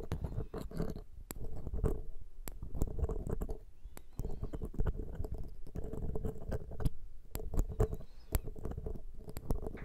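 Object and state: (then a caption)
Metal microphone grille scratched. A thin metal ear pick scratches steadily across the hollow metal mesh capsule grilles of a Zoom H6 X/Y microphone. The close contact gives a deep, muffled rumbling scrape broken by frequent sharp, bright ticks and clicks. The scraping comes in uneven bursts with brief quieter gaps.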